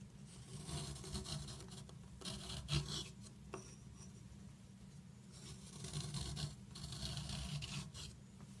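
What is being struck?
Chalk stick.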